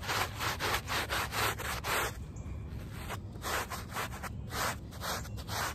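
A handheld plastic bristle brush scrubs the back side of a small, wet, soapy woven rug lying on pavement, the rug very muddy. It makes repeated broad, bright rasping strokes at about two per second, briefly turning softer and more irregular in the middle before the rhythmic scrubbing returns.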